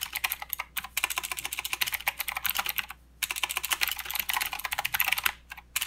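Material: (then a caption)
Plastic. Fingertips of both hands type on a full-size plastic mechanical keyboard with plastic keycaps and blue clicky switches, producing a rapid, uneven stream of sharp, bright clicks. Each keystroke decays almost instantly. Two brief pauses break the typing, near the one-second mark and around three seconds, before it resumes and continues to the end.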